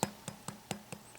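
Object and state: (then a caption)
Hoe cake tapping firm while cooking. A spoon taps five times on a cornmeal hoe cake that is browned at the edges and cooking on a steel hoe over a bed of coals. Each tap is a short, dry, woody knock that dies away almost at once. The firm sound shows the cake is cooking through and needs just a couple more minutes before it is flipped.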